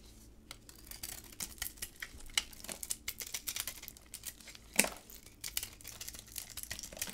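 A utility knife scrapes the glossy magenta coating off a solid, hard white bar of soap held in black gloves, then cuts into the bar. The result is a rapid, irregular run of dry, bright scraping and crackling strokes, with one sharper, louder crack near the middle.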